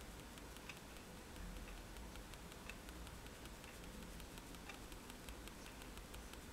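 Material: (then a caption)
Paper. A fineliner pen tip is tapped onto a sheet of flat white drawing paper resting on a table to make dots. Soft, bright ticks repeat at an irregular pace over a quiet, steady low hiss.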